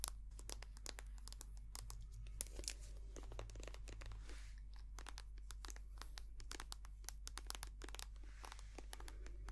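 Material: Plastic.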